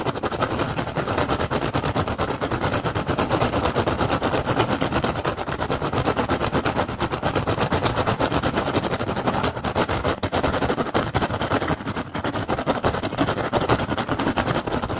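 Both hands tap fast with fingertips and scratch with nails on an upturned, hollow, empty woven rattan basket. The result is a steady, dense stream of rapid dry clicks and scratchy rustling that runs without pause at an even level throughout.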